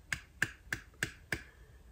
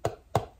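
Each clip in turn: First: vacuum-sealed jar lid, under vacuum. Second: jar lid not vacuum-sealed.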